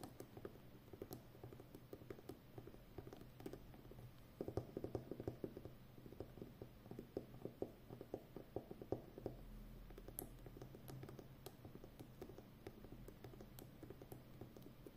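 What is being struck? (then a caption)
Plastic packing tape roll on a cardboard core. Long nails on both hands tap and scratch the rim of a full roll of brown plastic packing tape wound on a hollow cardboard core. The result is a quiet, steady patter of short, dull clicks and soft scratching with a low, muted body. The tapping grows a little louder and busier through the middle of the clip before settling back down.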